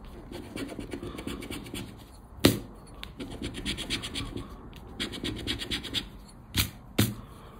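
A round black plastic scraper scratches a thin paper scratch card (20X) resting on black cloth. It makes bursts of dry, rasping scratches with pauses between them. Two sharp taps stand out at the end.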